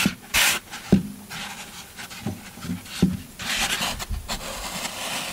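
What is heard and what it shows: Fingertips press dimples into a solid green floral foam brick, making soft, crunchy pops and squeaks with a few sharp accents. Then a yellow-handled metal scraper tool begins raking the surface, giving a steady, bright, gritty scratching texture.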